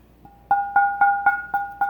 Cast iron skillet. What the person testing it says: I hold it up like so, and you can hear that ring